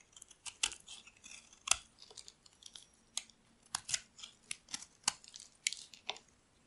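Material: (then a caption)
Soap. A solid pink oval bar of dry soap, held in the palm, is shaved with a metal utility blade. A rapid series of quiet, bright, crisp scraping crackles follows, each short and dry with no ring. Soap flakes peel off the bar.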